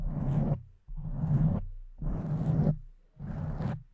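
Long nails scratch and stroke the sides and top of a pink foam microphone windscreen. The result is four rough, muffled, low-heavy rubbing bursts with a soft whooshing texture, separated by brief pauses.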